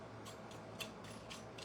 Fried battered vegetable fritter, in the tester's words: that's how crisp it is, right? So it's not soft, it's not limp